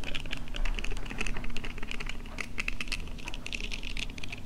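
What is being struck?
Silicone face scrubber pad.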